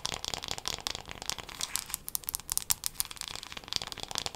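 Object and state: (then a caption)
Wooden hairbrush. Long black acrylic nails tap quickly across the wooden back and handle of a solid, light, hand-sized wooden hairbrush with bristles. The taps form a dense, rapid stream of crisp, bright clicks with very little low end. Each click dies away almost instantly.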